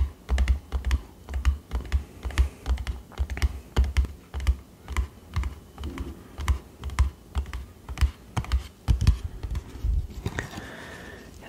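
A small, closed, printed cardboard box, a Dr. Oetker gingerbread house decor kit with its contents inside, is held in both hands and tapped with the fingernails. The result is a quick, irregular run of short, dry, hollow taps with a deep thump, each dying away almost at once, much like typing on a keyboard. Near the end a faint steady tone rises under the tapping.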